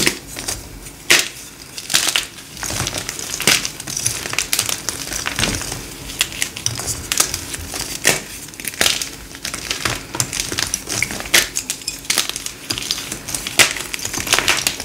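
Both hands squeeze and snap solid, hard, palm-sized pink dyed gym chalk blocks apart into dry, brittle chunks over a heap of crushed chalk. A steady run of sharp, bright crunches and crisp snaps with quick decay sits over a faint low hum, with little bass.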